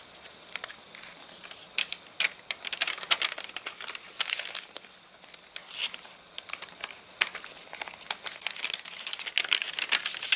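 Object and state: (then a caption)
Rain-dried crinkly paper catalogue. Fingers lift and crinkle a stiff, water-wrinkled page of an open, rain-dried paper catalogue, then the page settles flat under the fingertips. Dense, bright crackles and sharp, short snaps come in uneven bursts with almost no low end, fading between clusters.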